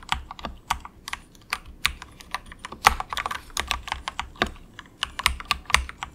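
Fingertips of both hands type softly on a very cheap, compact 68-key plastic mechanical keyboard with a hollow case, resting on a desk mat. About 28 quick, clacky keystrokes sound with a hollow midrange tone around 830 Hz and bright high clicks. Each stroke dies away almost instantly.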